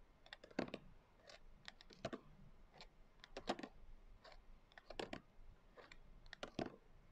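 Long acrylic nail tips tap quickly on the coarse glitter cover of a closed hardcover journal. The sound is a quiet flurry of sharp, dry clicks with a gritty edge, arriving in uneven clusters. Each tap stops almost at once, with no ring.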